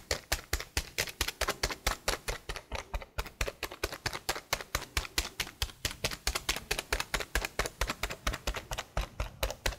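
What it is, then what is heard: Plastic laptop keyboard. Long blue nails type and tap on the keys of a detached black plastic laptop keyboard held at a tilt. About 56 short, sharp, bright clicks come in a quick, uneven rhythm, each dying away almost instantly with a faint low thump beneath.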